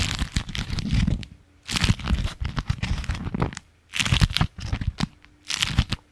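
A striped beeswax-coated fabric food wrap sheet is held in both hands close to the microphone and bent, crinkled and scratched with the fingertips and nails. Bursts of dense crinkling and crackling, with a strong low handling rumble beneath bright, sharp crackles, alternate with brief near-silent pauses.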